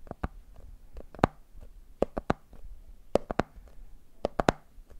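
A medium clear plastic jar full of peanuts with a red plastic lid is tapped, with fingertips on the lid and fingers on the jar body. Short, dry taps land in quick clusters of two or three, each dying away almost instantly. Their hollow plastic knock centers around 700 Hz over a faint background.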